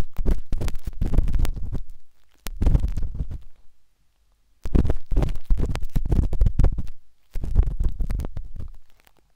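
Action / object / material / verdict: scrape / silicone ear of a binaural microphone scraped with a metal-tipped stick / silicone / none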